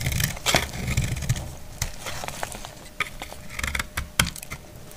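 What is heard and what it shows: A metal utility blade shaves a solid, dry white soap bar, giving a run of crisp, dry scraping strokes with bright, short cracks. A low rumble sits underneath.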